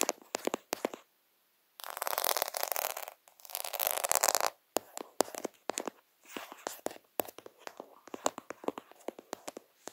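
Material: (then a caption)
Plastic. Fingertips and nails scratch and rub the beads of a plastic faux half-pearl sticker sheet over a lens. Quick, dry, bright clicks and taps open the clip, followed by two longer stretches of dense, hissy scraping. The clip then returns to a run of sharp taps with light rubbing between them.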